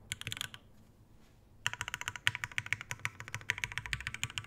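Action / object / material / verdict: tap / mechanical keyboard with plastic keycaps, brass plate and metal case / brass, plastic / none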